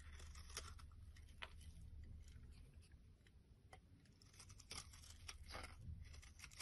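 A solid oval green bar of soap, held in the hand, is shaved into long curls with a metal blade. Soft scraping and crisp, crackly shaving strokes repeat unevenly over a low background hum, with bright flaky detail on each pass.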